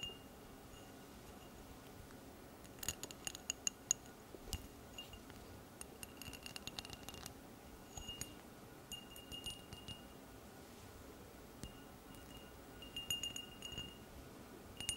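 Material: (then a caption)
Crystal glass. An empty, hollow cut-crystal glass tumbler is held close and turned while long red nails tap and scratch its patterned side and base. The result is a series of quiet, bright, short clinks and glassy ticks with faint scraping, bunched in clusters over a low, steady background hiss.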